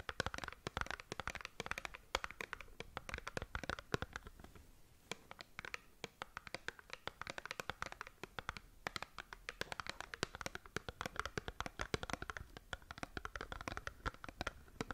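Long nails scratch across the surface and edges of a small cardboard skincare box held sideways. Rapid, dry scratching and tapping clicks run continuously, with a brief softer lull around the middle. The sound is mostly mid-range with bright crisp edges.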